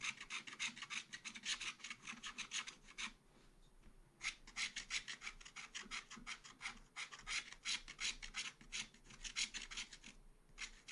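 A wooden stylus scrapes repeated quick strokes across a black-coated scratch art paper page in a small spiral pad. Each stroke gives a bright, dry, raspy scratch in a fast, uneven rhythm, with a brief pause near the 3–4 second mark before the scratching resumes.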